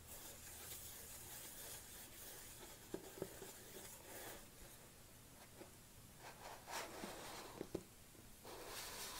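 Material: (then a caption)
Plastic. Long nails tap and scratch the lid and side of a large black plastic protein supplement tub with a yellow label, tilted in the hands. Quiet, steady scratching and rubbing runs throughout, broken by a few sharp, short plastic taps that die away almost instantly.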